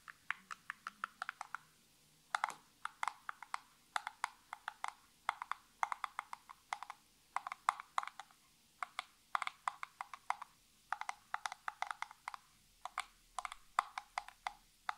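Natural nails tap rapidly on the edges and sides of a small, hollow, printed cardboard nail polish box held tilted over a table. Quick bursts of sharp, dry clicking centered around 1 kHz die away almost instantly, broken by brief pauses.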